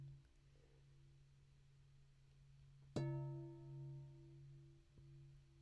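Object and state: Glass lampshade ringing like a bell.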